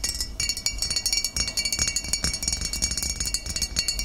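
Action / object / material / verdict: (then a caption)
tap / glass bottle of vinegar / glass / none. Long nails tap rapidly on the shoulder and body of a full glass bottle of cider vinegar standing upright, making around thirty quick, bright clinks. Each tap rings briefly with a high glassy tone above a soft low thud.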